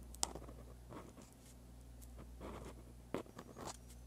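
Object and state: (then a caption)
Pen writing on lined paper. A dark-bodied pen with a metal tip scratches across a sheet of white lined paper lying flat while writing Korean script. Soft, dry scratching strokes come in short bursts, with three sharper ticks of the tip against the paper over a steady low hum. The whole clip stays quiet.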